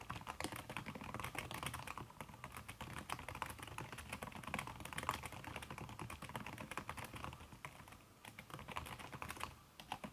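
Fast typing taps from fingertips and long red nails on a backlit aluminium laptop keyboard fitted with a red silicone key cover. The muted clicks run in a dense, steady stream with no pauses, short and soft with a light low thump under each tap.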